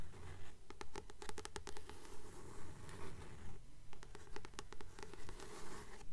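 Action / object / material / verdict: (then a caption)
tap / paperback book with glossy paper cover / paper / none. Long fingernails tap and scratch the glossy paper cover of a blue Practical Magic paperback held upright, a solid paper book. A steady run of quick, light, dry taps with bright clicky edges mixes with soft scratching strokes over a low, quiet hum. Each tap dies away almost at once.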